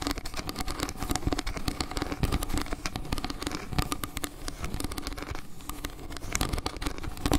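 Long painted nails rapidly scratch and tap the slices of a round, solid wood-slice trivet with a maple-leaf carving. A dense, continuous stream of short, dry clicks and scratchy crackles runs throughout at a steady level, with a heavy low-end thump under bright, sharp tap transients.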